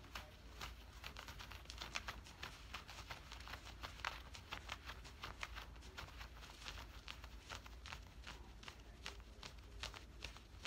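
Fingertips and nails on both hands scratch and rub the woven cotton fabric of worn camouflage cargo pants at the hip and pocket area. The result is a steady run of short, dry, bright scratching strokes over a constant low hum, with quick, raspy bursts that stop almost instantly.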